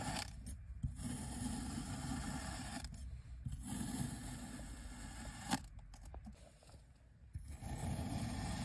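A white ceramic knife blade slices repeatedly through a solid, hand-sized dome of pink kinetic sand resting on a white surface. Soft, gritty scraping and rasping sounds, weighted toward the low end, continue through each cut, with a few brief quieter gaps and one sharp tick partway through.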